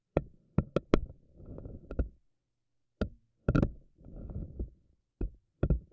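Long nails grab and pluck the rubbery strands of a pink silicone spiky anemone ball, making sharp, dull knocks in quick bursts separated by pauses. Between the bursts comes a softer, low rubbery squish and rustle as the strands are worked.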